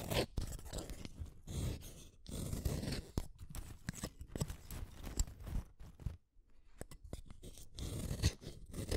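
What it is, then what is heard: Wooden colored pencil being shaved. A small, solid red wooden colored pencil is shaved with a utility knife blade in a run of short, dry scraping strokes. The strokes are crisp, crackly and mostly low and dull, with brief flicks of brightness. There is a short near-silent pause about two-thirds of the way through before the shaving resumes.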